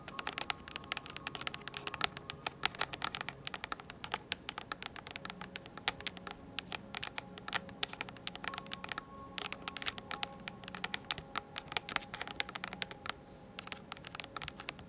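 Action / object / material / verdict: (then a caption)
tap / plastic computer keyboard keys / plastic / none. Long nails type and tap rapidly on a mint-blue plastic computer keyboard with round keycaps, held upright close to the mic. The result is a dense, steady stream of crisp, bright plastic clicks, each dying away almost instantly, with little low end.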